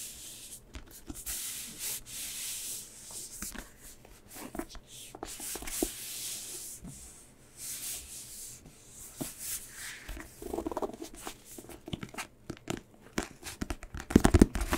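A small paperback book, a solid stack of paper pages with a glossy red card back cover, is held in one hand while fingertips and nails rub and scratch the back cover. Soft, airy rubbing swishes with a bright hiss come in uneven strokes at first. They give way to quicker, sharper scratches and light clicks that grow louder toward the end.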